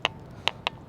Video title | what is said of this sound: The Ringing Stone / Clach a' Coire | if you hit them with another rock, it makes the noise